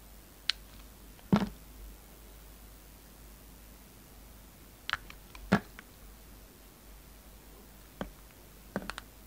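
A hand-sized, solid pink and green flower-shaped bar of soap is held in the fingers and carved and scraped with a steel utility knife blade. Sparse, short, crisp clicks and scrapes come in small clusters against a quiet background, with brief high bright snaps and dull low thuds. Each cut dies away almost instantly.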